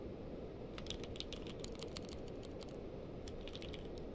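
A purple-case mechanical keyboard with plastic keycaps is typed on with the fingertips of both hands. Quick, light clicks and clacks with bright high tops sit over a steady low rumble of background hum. The typing pauses briefly in the middle before resuming.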